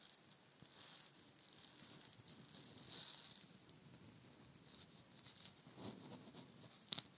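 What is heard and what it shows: A palm-sized, hollow, painted wooden shaker egg has its surface scratched and tapped with long nails while its fill rattles inside. The sound is a quiet, bright, crackly rattling and scratching that swells in soft bursts, with a sharp tap near the end.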